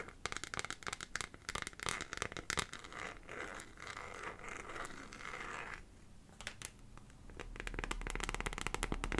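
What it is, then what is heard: Plastic liquid glitter phone case. A small, hollow, transparent plastic phone case filled with purple glitter liquid is held in both hands and tapped and scratched with long painted fingernails. Quick, sharp clicks and ticks come in bursts between stretches of dry, bright scratching. A faint low rumble runs underneath.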